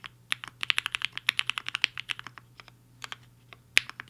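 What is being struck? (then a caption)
Mechanical keyboard with plastic keycaps. Fingertips of both hands type fast on a HI-FINGER 7.5 compact mechanical keyboard with a black case and white and pink plastic keycaps, resting on a desk mat. About 26 short, bright plastic clacks come in a quick, dense run and then thin out into sparser strokes, with one sharp, louder key hit near the end. Each keystroke cuts off almost instantly with no ring.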